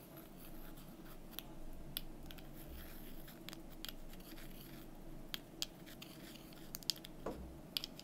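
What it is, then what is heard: Painted wooden cubes tapped and scratched with fingernails. Long nails scratch and tap the faces of two small, solid painted wooden number cubes held up in the hand. Soft, dry scratching runs beneath a series of short, bright clicking taps over a steady low background hum.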